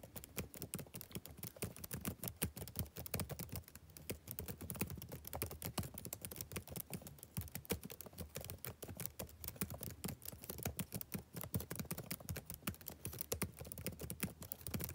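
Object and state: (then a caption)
Laptop keyboard typing. Fingertips type steadily on a black plastic backlit laptop keyboard for fifteen seconds. The result is a quiet, continuous patter of short, dry clicks with a soft, low thump under each keystroke and almost no ring.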